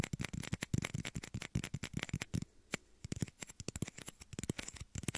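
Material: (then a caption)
Plastic. Small, hollow, empty clear plastic shot glasses, one held over each ear of a binaural mic, are tapped and scratched with fingertips and short nails. Rapid, dry, clicky taps with a low hollow thump die away almost instantly, mixed with light scratching. The tapping thins out briefly in the middle before picking up again.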